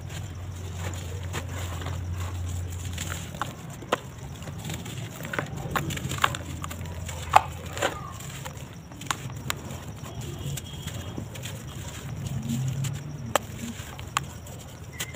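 Both hands dig into a red plastic tub of loose cement powder, then break and crumble dry, solid sand-cement lumps with their fingers, letting the pieces fall back into the powder. The result is a steady low rumble under a stream of small, dry crunches and sharp snaps, some of them brighter cracks that stand out above the rest.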